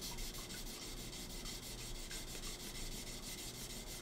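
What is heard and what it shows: A solid steel knife blade, partly taped and clamped in a green bench vise, is hand-sanded by gloved fingers rubbing a flat abrasive block along it, with a thin water line nearby. Steady, rhythmic scratchy rasping strokes run continuously, with a bright hiss over a low rumble.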